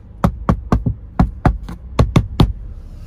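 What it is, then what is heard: Plastic car door trim. Knocking on the plastic interior door trim of a new Toyota Veloz, with the material about the same as on the old Veloz. About ten short, dull knocks come at an uneven pace. Each has a hollow low thud and almost no ring.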